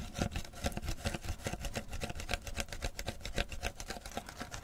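Long fingernails rapidly scratch the printed label and ridged plastic of a clear PET beverage bottle, held in one hand and full of amber tea. A steady stream of quick, dry scratches and clicks sounds throughout, with bright crackle over soft low thumps.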